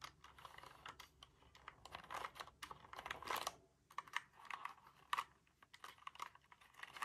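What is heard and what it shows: Fingertips rapidly tap and press the keys of a compact, dark, hollow mechanical keyboard with plastic keycaps and a plastic case, held up in the air. The result is a quick, dry stream of bright, clacky typing-style clicks in uneven bursts, each dying away almost instantly, with a brief lull midway through.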